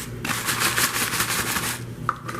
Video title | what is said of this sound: How to make Jamaican Chippies Banana Chips #Copycatrecipe #Jamaican #Bananachips #Chippies | Toss it a little bit, and you can hear how crispy it is already